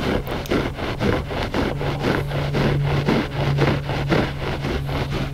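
Short fingernails scratch the pile of a flat gray loop-pile textile rug, solid and soft, making rough, brushy scraping strokes about twice a second. A steady low hum runs underneath the whole clip.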